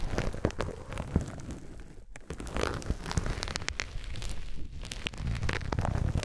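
A white polyethylene foam grid net sleeve is rubbed and scratched with fingertips and pressed flat. It makes a dense, soft crackling and crinkling texture, like light rain, with many quick sharp snaps over a low, muffled rustle. There are brief quieter pauses between strokes.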